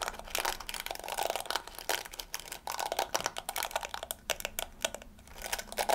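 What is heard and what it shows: Long fingernails scratch and flick the yellow plastic bristles of a small round hairbrush with a pink plastic body. It makes a dense, quiet run of bright, dry crackling and rapid clicking, like crinkling, with short snaps that stop almost at once. There is almost no low end.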